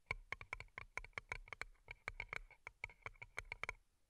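Long nails tap rapidly on two small, hollow, empty paper cups turned upside down and covered in colorful plastic rhinestones, striking both the rhinestone sides and the cardboard tops. The taps are quick, dry, bright clicks with a sharp ring and almost no decay, in an irregular run of many taps.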